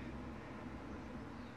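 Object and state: Nothing is struck.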